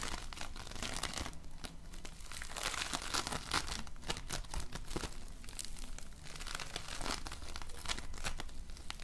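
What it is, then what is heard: Polystyrene foam bead slime being kneaded. Both hands knead a large lump of floam, slime packed with polystyrene foam beads, pressing into it with fingertips and nails. Dense, crunchy crackles and squishes burst continuously over a steady low rumble, with bright crinkling snaps throughout.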